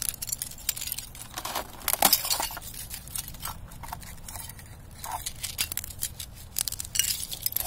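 A knit-gloved hand pushes down on a thin, clear ice sheet lying over dry grass and crushes it. Bright, glassy clinks and crackles come in quick, overlapping bursts as the shards break and tinkle against one another, with a louder crunch near the middle and again at the end.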